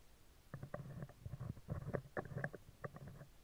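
Metal tweezer tips scratch the lower part of a round, hollow steel wire-mesh microphone grille. The result is a series of low, rumbling, close-up scraping bursts with a hollow mid tone, coming in irregular clusters with almost nothing bright above.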